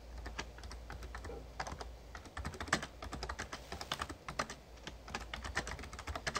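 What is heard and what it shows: Fingertips type steadily on a full-size backlit Razer Ornata Chroma plastic membrane gaming keyboard with plastic keys and a hollow case. The result is a quick, dense run of short, bright clicks and taps that die away almost instantly, over a low steady hum.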